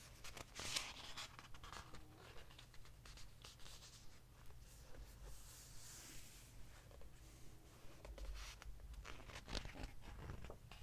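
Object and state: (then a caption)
Glossy paper hardcover book. Fingertips and a hand rub across the glossy printed paper pages of a large open hardcover book lying flat, then turn and flip them. Soft papery rustles and scratchy swipes mix with crisp, bright page flips over a faint low rumble. The whole clip stays quiet, with short sharp flutters standing out from the steady brushing.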